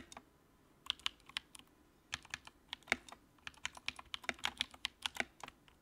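Fingertips type on the keycaps of a compact white plastic mechanical keyboard with backlight. About 23 crisp, bright key clicks sound in an uneven rhythm, sparse at first and then quicker. Each click is short and sharp, centered around 2.2 kHz with almost no low end, and dies away almost at once.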